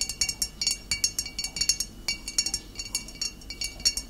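Long nails tap the shoulder of a full glass bottle of cider vinegar standing upright, about 25 quick, dry clinks in an uneven rhythm. Each tap is a bright, high glassy tick that dies away almost at once, with almost no low end.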